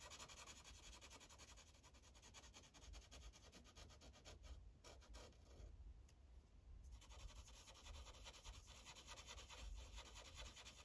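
A light green Sharpie felt tip rubs back and forth on a thin paper coloring page resting on a clipboard, filling in small circles. Quiet, rapid scratchy strokes run throughout with a low thump underneath and a few brief pauses near the middle.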